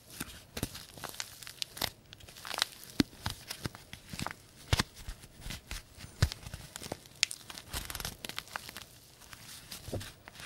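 A small, wrinkled white-and-green printed paper tea bag sachet is squeezed and crinkled with the fingertips of both hands. Dense, dry crackling and crinkling continues throughout, with sharp, bright snaps and short tearing-like rustles over a soft low rumble.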